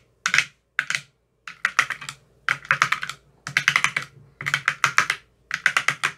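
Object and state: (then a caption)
Plastic ice cube tray with silicone cells. A metal rod with a white tip taps across the teal silicone cells of an empty, clear plastic ice cube tray. The taps come in eight quick bursts separated by short silences, each a rapid run of dry, bright, clicky ticks with almost no ring.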